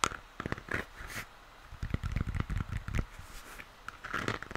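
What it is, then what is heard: Plastic moon lamp, tapped and scratched. A hollow plastic moon lamp held in both hands is tapped and scratched along the sides of its shell by fingers. Soft, hollow, low thumps mix with short dry scratching bursts and brief brighter swishes. The taps stop dead with no ring.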